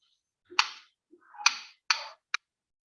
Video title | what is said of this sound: Conoce a tu orquesta V Cápsula | Ven que por el tipo de material las vibraciones son diferentes.